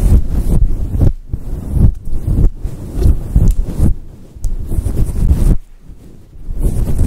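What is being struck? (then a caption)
Synthetic fur microphone windscreen. Fingertips and long nails rub and scratch the sides of a fluffy synthetic fur microphone windscreen. The result is a deep, muffled, booming rustle in uneven bursts with brief quieter gaps, almost all low rumble with little high-end detail.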